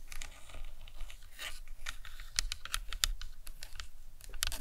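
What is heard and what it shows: Long nails tap and scratch across the cranium and temples of a hollow plastic anatomical skull model. A quick, uneven run of dry, bright clicking taps is mixed with soft scratchy rustling over a low background rumble. Each tap dies away almost at once.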